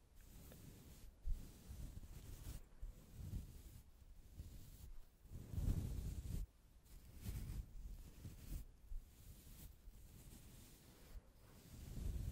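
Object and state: Nothing is struck.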